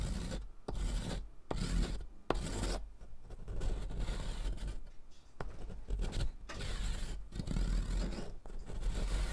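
A thick, solid blue sidewalk chalk stick is held by hand and grated across a metal mesh rasp lying on cardboard. Continuous gritty rasping strokes follow one another with brief pauses, a dull low-heavy scrape with a faint hiss. The chalk leaves blue powder beside the earlier pink powder.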